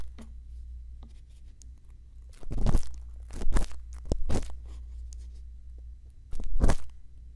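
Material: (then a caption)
Silicone. A thin bamboo earpick scratches inside the ear canal of a silicone ear on a binaural microphone. Soft crackly scrapes and rustles come in bursts over a steady low hum, with the loudest strokes near the middle and end.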